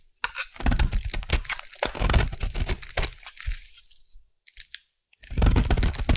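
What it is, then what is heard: Bar soap being carved. A solid white bar of Savannah collection soap, held in the hand, is carved into flakes with a metal blade, making dense, crunchy scraping and crackling with a heavy low body and bright crisp edges. After a run of rapid cuts, the sound fades to near silence with only a couple of faint clicks, then the crunchy carving resumes at full strength.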